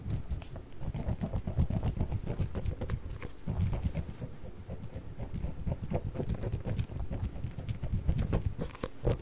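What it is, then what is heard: Plastic container with water beads. A small round clear plastic food container with a blue lid, partly filled with orbeez, is held in one hand, shaken and moved around a microphone. The beads rattle and tumble inside in a steady, irregular patter of soft, muffled, low thuds with brief brighter clicks.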